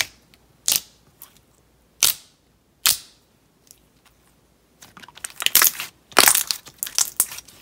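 Fingertips press, fold and squeeze a handful of translucent yellow slime packed with small round plastic beads on a white table. A few sharp, separate pops come first with quiet gaps between them, then from about five seconds in it turns into dense, crunchy crackling and popping. The sound is bright and clicky with almost no low end, and each pop stops almost instantly.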